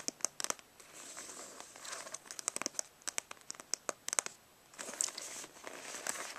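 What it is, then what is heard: Faux leather brush roll case. Medium-long natural nails scratch and tap with both hands on the padded surface of a black stitched faux-leather makeup brush roll, rolled up, tied with a cord and lying on carpet. Bright, crinkly scratching runs in soft stretches, broken by many sharp, quick tapping clicks that stop dead.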